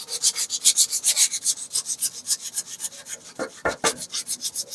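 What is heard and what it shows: A gray, weathered, textured, solid flat wooden plank about a forearm long is held upright beside a stand microphone and scratched and rubbed with the fingertips and nails of one hand. Quick, uneven strokes repeat steadily, each a bright, dry, hissy scratch with almost no low end and no ring. Near the end, a few sharper, fuller scrapes stand out.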